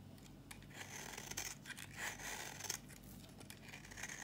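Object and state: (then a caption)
Dry bar soap. A solid, dry red bar of soap is scraped with a flat metal blade, shaving off dry, crumbly curls. The audio is a quiet, continuous, bright scratching with repeated short rasping strokes and a steady low hum underneath.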